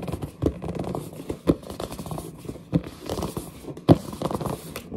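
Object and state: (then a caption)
Cardboard box scratched and gripped. Long nails scratch and grip the surface and edges of a large, hollow, printed cardboard headset box held up in the air. Soft, dull, continuous scratching and rubbing is mostly low-pitched, with very little brightness. Four louder, thumping grips stand out against the steady scratching.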